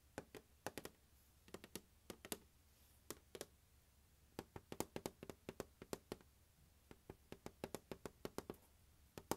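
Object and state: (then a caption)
Hollow plastic case tapped. Fingertips and nails tap the lid and label area of a closed, large, hollow turquoise hard plastic glockenspiel carrying case resting on carpet. About 39 short, dry, hollow taps come in irregular bursts, each with a mid-pitched knock near 330 Hz and a bright click that dies away almost instantly. The tapping stays quiet throughout, over a low, steady background hum.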